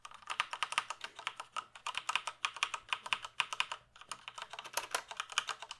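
Fingertips type steadily on a full-size black plastic computer keyboard. Quick, bright clicks and clacks with almost no low end fall in dense runs, with a brief pause near the four-second mark. Each keystroke dies away almost at once.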